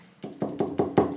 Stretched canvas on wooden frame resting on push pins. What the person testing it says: this was the corner where we can hear that it's not quite level